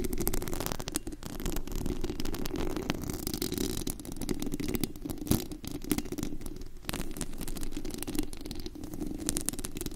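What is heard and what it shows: Long acrylic nails on both hands scratch and tap the white-painted metal mesh grille, a hollow dome, of a large USB condenser microphone with a glittery body. The result is a dense, continuous crackling scrape with a low, boomy rumble underneath and occasional sharper taps.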